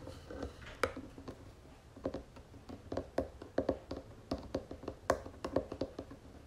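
Long nails on both hands tap on the flat wooden lid of a round wooden jewelry box. A quick, uneven series of short, dry clicks follows, each with a faint hollow tone around 530 Hz that dies away almost instantly. A soft, steady background hiss runs underneath.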